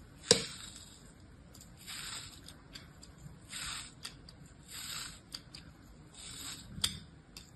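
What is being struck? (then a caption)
Kinetic sand mound cut with a plastic blade. A small, solid mound of beige kinetic sand held in an open palm is repeatedly sliced and scraped with the thin blade of an orange plastic craft knife. Soft, grainy cutting and rubbing swells in bright hiss, broken by a few sharp little clicks, the loudest at the start and near the end.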